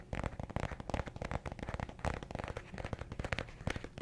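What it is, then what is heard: Paperback book with cardstock cover. Fingertips tap quickly on the cardstock cover of a small, solid yellow paperback affirmations book held up in one hand in front of a microphone. The result is a dense, continuous run of soft, dry, low thuds, each dying away almost instantly with little high-end sparkle.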